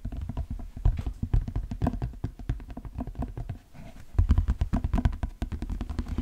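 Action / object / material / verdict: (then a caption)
tap / leather cowboy boot / leather / none. A hollow brown leather cowboy boot is held up and tapped on the shaft with the fingertips. Rapid, dull, low thuds with very short decay patter steadily, dip briefly into a quieter stretch, then return louder and denser.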